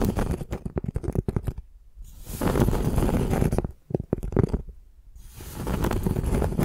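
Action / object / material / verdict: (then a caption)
scrape / piece of tree bark / bark / none. Long nails scratch and tap the rough, cracked, flaky outer side of a flat piece of tree bark held in both hands. Quick, uneven clusters of dry crackling taps alternate with longer, swelling rasps of scratching, all dull and low-heavy, with brief quiet pauses between passes.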